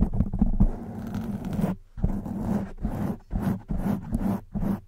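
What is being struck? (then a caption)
Foam microphone windscreen. Long white nails drag and scratch over the top of a black foam microphone windscreen, making a dense, low, muffled scraping rasp. Sustained strokes alternate with shorter bursts separated by brief gaps, with little high-end content.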